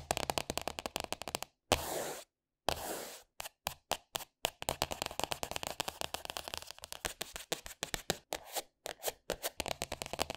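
Short painted fingernails tap and scratch the glossy green polka-dot plastic cover of a flat A4-size spiral-bound sketchbook, with a solid paper block under the cover, lying on a wooden table. Rapid, crisp, dry taps come in quick runs with brief silences, broken early by two longer scratching rasps.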